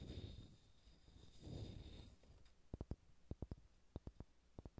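Fingernails scratch over the surface of a solid, pale pine wooden ball, making two soft, low rustling swells for the first two seconds. Then they tap it in a quick series of short, dry, muted knocks that die away almost instantly.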